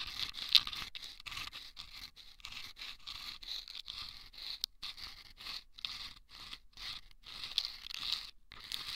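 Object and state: Sandpaper tube scratched.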